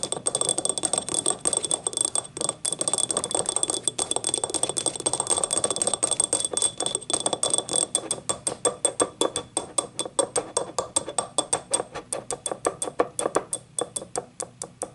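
Long nails scratch quickly across the vertical ribs of a small, hollow, yellow ribbed ceramic cup standing upright, making a fast, ratchet-like clicking. The dense, clicking rasp has a mid-range body, and the clicks become sharper and more distinct toward the end. A faint, steady, high tone sits underneath throughout.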